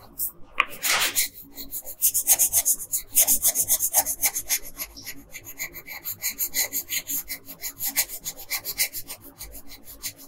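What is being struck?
Paper sheet on a table, scratched by a wooden colored pencil.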